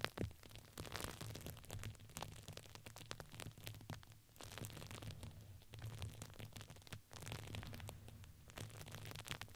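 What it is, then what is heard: Crinkly fabric ring. A red patterned fabric ring with crinkly filling is squeezed and crinkled by hands and nails. The result is a steady, dense stream of soft crackling and rustling with a low rumbling undertone.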